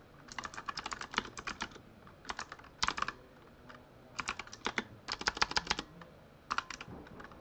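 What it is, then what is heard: Plastic mechanical keyboard being typed on. Fingertips type and press the keys of a full-size Razer Huntsman mechanical keyboard with lit plastic keycaps. Bursts of rapid, crisp, bright clicks come in quick runs separated by brief pauses. Each keystroke is short and dry with almost no low end.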